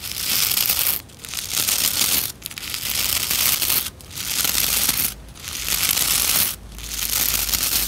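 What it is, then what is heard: Plastic scrub brush bristles. Nails and fingertips rub and scratch the stiff bristles of a white plastic scrub brush. The result is a dense, bright, hissy scratching in six sustained bursts, each about a second long, separated by brief quiet gaps.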